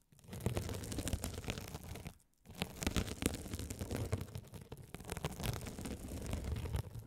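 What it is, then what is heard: Glitter mesh scouring sponge. A gold metal spiked roller is rolled across a hand-sized blue glitter mesh scouring sponge, with a sparkly woven mesh cover, soft and solid, held close over the microphones. The result is a dense, crackling scratch and crunch, heavy in the low end with bright crinkly ticks on top. The sound breaks off briefly just after two seconds, then resumes steadily to the end.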